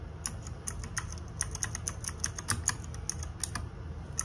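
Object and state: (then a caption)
Plastic mechanical keyboard. Fingertips and nails type quickly on a small RGB-backlit 60% plastic mechanical keyboard with plastic keycaps. Each keystroke is a short, bright clack that dies away almost at once, over a steady low rumble.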